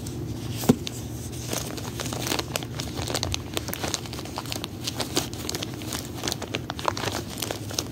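A knit-gloved hand crinkles and presses a clear plastic bag with a white header strip, filled with many small food-shaped rubber erasers, as it lies on carpet. Dense, continuous crinkling and crackling of the plastic runs throughout, with a sharper snap near the start.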